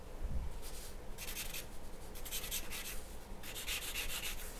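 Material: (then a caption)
Paper. A graphite pencil strokes across a large, flat white paper sheet lying on a wooden table, making scratching and rubbing sounds. The strokes come in bursts of bright, papery scratching over a steady low rumble, with quieter gaps between them.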